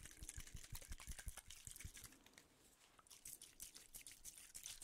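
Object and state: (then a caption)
Aluminium tube container. A small, hollow, silver aluminium cylindrical tube container is held in one hand close to the microphones and tapped and clicked with fingertips and nails. The result is rapid, uneven, keyboard-like clicking, with dull low thumps and bright, short ticks. The tapping thins out and quiets briefly in the middle before picking up again.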